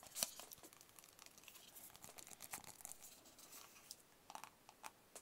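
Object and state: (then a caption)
Cardboard box tapped with fingertips and nails. Fingertips and nails tap on the sides of a small, hollow, white rigid cardboard product box. The result is a quiet, irregular run of crisp, bright clicks and scratchy, crinkly taps. There is almost no low end, and one sharper tap stands out near the start.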